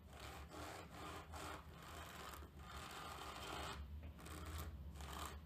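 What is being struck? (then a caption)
Cotton terry towel scraped with a plastic comb. A wide-tooth tortoiseshell plastic comb, held by a hand with long lilac nails, is pressed teeth-first into the pile of a grey terry towel on a table and scraped along it. Repeated rough, rasping scratches come in broad strokes with brief pauses between them, over a steady low hum.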